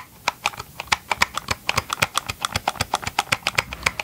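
Gloved fingertips tap rapidly on the hollow plastic housing of a Ryobi chainsaw held close to the microphone. About 27 quick, dry, bright clicks follow in an uneven, rattling rhythm. Each tap has almost no low end and no ring.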